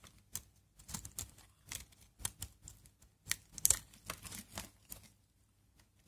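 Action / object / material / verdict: scrape / bar of Aleppo soap / soap / none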